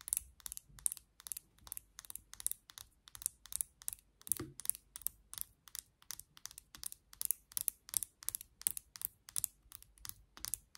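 Long nails tap the vented back of a black plastic vented hairbrush, then tap and scratch its handle. The result is a steady, rapid run of crisp, bright clicking bursts with almost no ring and very little low end.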